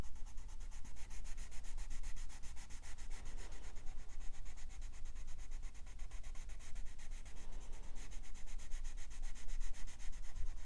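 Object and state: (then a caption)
Paper page rubbed with a colored pencil. A colored pencil scratches and rubs over the thin paper page of an open softcover coloring book lying flat, in short quick strokes near the bottom of the drawing while the other hand rests on the page. A steady, dry, papery scratching continues throughout, with bright grainy texture and a low rumble underneath.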